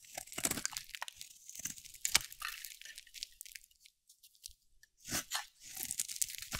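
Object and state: Dry soap bar being carved.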